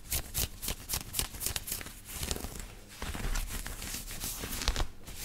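Fingertips and nails scratch the chest of a black knit cotton t-shirt being worn on the body. Quick, dry scratching strokes with a bright fabric hiss come in bursts, then run into a more continuous rasp over a soft low rumble.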